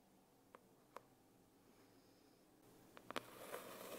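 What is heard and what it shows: A long fingernail scratches the embossed text on a closed holographic foil hardcover notebook, and fingers tap its cover. Quiet, sharp, dry taps stand out against a soft, rising scratchy hiss, with a bright cluster of taps near the end.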